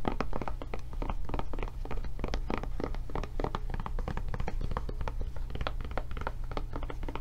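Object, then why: Silicone rubber tablet case. Long nails tap rapidly and steadily on a blue silicone rubber tablet case with its handle flap raised. The taps are soft, dull thunks that die away almost at once, riding over a constant low hum.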